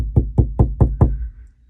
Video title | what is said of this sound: Jeep headliner install | it sounds more hollow